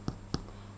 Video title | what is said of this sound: Bread rolls | you can hear that nice hollow sound, which means that a bread is cooked